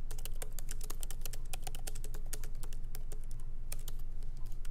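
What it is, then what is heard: Laptop keyboard typing. Both hands type continuously with their fingertips on a MacBook Pro keyboard, a laptop keyboard with low-profile plastic keys set in a solid aluminum body. The rapid, irregular stream of short, dry, bright key clicks sits over a steady low hum.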